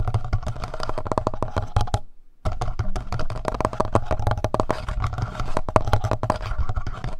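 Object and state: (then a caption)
Plastic handheld audio recorder, tapped. Fingertips rapidly tap the front panel of a black plastic Tascam handheld audio recorder with a hollow body. The dense, dry clicking taps carry a low, hollow thump. They stop briefly near the two-second mark, then resume.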